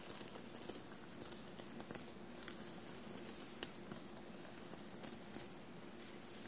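Short blue-painted nails tap and scratch a soft dark blue shirt bunched on a table and covered in small silver paillette studs. A quiet, steady patter of light scratches is punctuated by short, bright metallic ticks that stop instantly, over a faint low hum.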